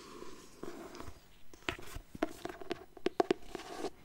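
Fingertips with painted nails move over the printed paper cover of an illustrated hardcover copy of *Complete Alice*, a book-sized paper-and-board volume held upright. Quiet, dry scratching and rubbing is broken by a series of short, sharp clicks and taps that cut off almost instantly.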